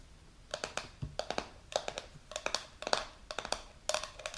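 Long pink nails tap and scratch the silver lid and side of a medium translucent plastic supplement jar filled with powder. The result is a quiet, irregular run of short, sharp clicks with a hollow tone near 620 Hz and a bright edge. Each tap dies away almost instantly, with very little low end.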